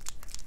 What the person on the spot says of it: shake this until you can hear it clicking the ball mixing the paint inside